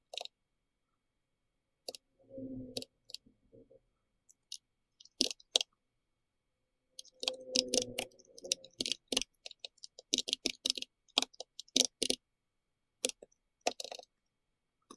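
A compact pink-red plastic mechanical keyboard with round typewriter-style keycaps is typed on with the fingertips of both hands. The result is quiet, bright, short clicks in irregular bursts, some closely bunched and some spaced apart. A few lower, longer muffled rattles are mixed in between the clicks.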